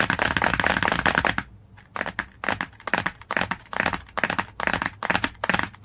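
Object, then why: Glossy cardboard hardcover book. Long, clawed nails tap quickly on the glossy cover of a cardboard hardcover book. A dense, crackly run of bright, dry clicks is followed by a short pause. The tapping then returns in uneven, scratchy bursts.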